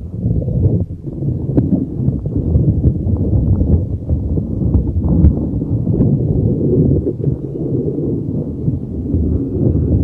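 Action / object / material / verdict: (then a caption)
scrape / soft rubber spiky ball / rubber / none. A neon green soft rubber spiky puffer ball is held over a microphone and rubbed and squeezed with fingers. It makes a steady, dense, muffled rumble of low thuds and rubbing scrapes, with almost nothing bright or high. The sound stays close and boomy throughout, with short soft bumps rising out of the continuous rustle.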